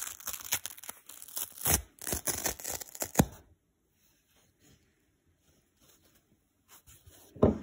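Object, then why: Foam kitchen sponge with scour layer. A dry blue foam kitchen sponge has its green scour layer ripped away by fingers, giving about three and a half seconds of dense, crisp tearing and crackling. Faint scattered crinkles follow as the foam is pinched, ending in a final short burst of crunching.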